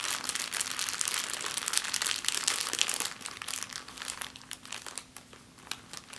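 A small, thin, empty clear plastic bag is crumpled by fingers with long painted nails on a wooden table. It makes dense, bright crinkling and crackling, loudest through the first three seconds, then softer and sparser with scattered crisp crackles toward the end.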